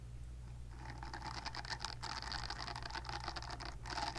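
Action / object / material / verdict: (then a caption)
scrape / silicone cleansing pad scratched with fingernails / silicone / none. Long nails scratch the nubby silicone bristles of a palm-sized silicone facial cleansing brush, held nub side toward the camera. After a quiet start over a steady low hum, a dense, bright, rasping scratch begins just before the first second and continues with brief dips near two seconds and just before four seconds.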